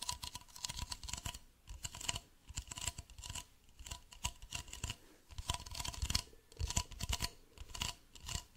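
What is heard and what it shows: Fingernails scratch and tap a hollow, medium white plastic bottle held sideways, making rapid bursts of dry, bright scraping over dull, low hollow thumps. The taps are short and dead, with no ring after each one. A faint steady tone near 1 kHz runs underneath.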